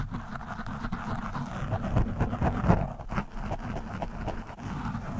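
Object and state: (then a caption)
Foam microphone windscreen being scratched. A screwdriver tip scratches across an orange foam windscreen on a microphone. It makes a steady, muffled, low rumbling rustle with irregular soft scrapes, peaking slightly in the middle of the clip.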